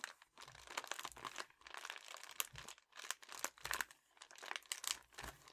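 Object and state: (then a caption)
Metallic foil bubble mailer. A red metallic foil padded bubble mailer is held upright, bent, and crinkled with fingertips and thumbs. The result is a steady run of bright, crisp crinkling bursts with some rustling.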